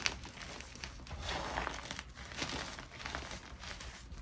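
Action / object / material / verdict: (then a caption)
scrape / gym chalk chunks / magnesium carbonate / none. Fingers pinch, crush and rub small pieces from a mound of soft white gym chalk (magnesium carbonate), made up of crumbly chunks and powder. The sound is a quiet, steady run of gritty, crinkly crunches with a bright, dry texture and very little ring. The chalk breaks apart into smaller bits and powder as it is rubbed.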